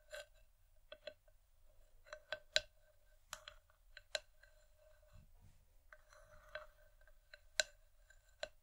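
Long nails tap the outer side wall of an empty, hollow wooden bowl from both sides, giving quiet, sharp clicks. Each click has a hollow tone around 600 Hz and a bright upper edge, and it dies away almost instantly. The taps come irregularly over a faint background hiss.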